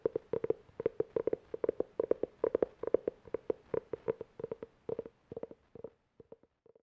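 Fingernails tap and scratch quickly on the cover of a navy-blue, cloth-covered hardcover book held at the shoulder. The result is a fast, irregular run of short, dry, hollow clicks with a mid-pitched tone, grouped in little bursts. They thin out into sparse, quieter taps toward the end.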